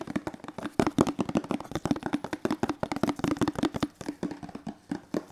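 Fingertips, one hand gloved, tap and rub a hollow teal plastic detergent bottle in a quick, uneven run of about thirty soft taps. Each tap is short and hollow, with a dull tone around 330 Hz and almost no ring. Faint rubbing fills the gaps between the taps.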